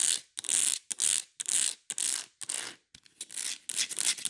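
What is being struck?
Ribbed plastic plant pot.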